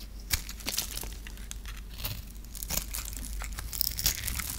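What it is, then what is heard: Dry soap bar being carved. A metal knife blade scrapes and carves a dry, solid lime-green bar of soap held in the hand, shaving off crumbly pieces. Dry, crisp crackling and scratchy cuts come in quick irregular bursts with bright edges over a faint low rumble.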